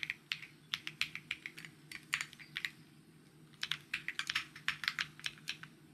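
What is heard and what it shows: Fingertips type fast on a white mechanical keyboard with plastic keycaps, giving bright, short clicky taps around 2 kHz that die away almost instantly. The keystrokes come in quick bursts with brief pauses between them, over a faint low hum.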